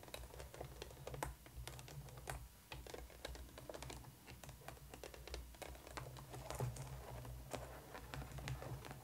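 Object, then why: Molded plastic toy case tapped and scratched with fingernails. Long painted nails of both hands tap and scratch a hollow black molded plastic coffin-shaped case for a Monster High Neon Frights Draculaura doll, lying flat, with a lattice front and pink and yellow plastic compartment doors. Quick, dry clicks and scratchy ticks come in an irregular patter over a steady low hum.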